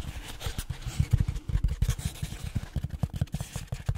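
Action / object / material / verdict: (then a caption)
tap / closed-cell foam tube / foam / none. Short trimmed fingertips scratch and tap along the textured surface of a long cylindrical black closed-cell foam tube (pool-noodle or pipe-insulation type), about a hand's width across and held in both hands, first horizontally and then tilted upright. A steady run of soft, dull, low thumps comes with a faint scratchy rustle, each tap dying away almost at once with almost no bright content.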